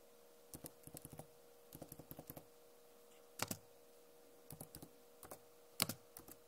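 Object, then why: Plastic laptop keyboard keys. Long nails tap on the plastic keycaps of a backlit Acer laptop keyboard, making short, dry, bright clicks in quick irregular bursts. Two taps stand out louder and sharper than the rest, and a faint steady hum runs underneath.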